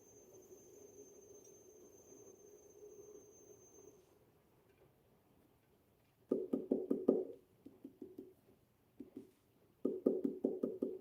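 The base of a leather-hard clay pot being trimmed on the wheel is tapped in quick bursts, giving short, hollow knocks around a mid-low pitch that die away almost at once, after a few seconds of faint steady hum and a thin high tone. The hollow sound shows the trimming went a little deeper than intended, though the pot can still be saved.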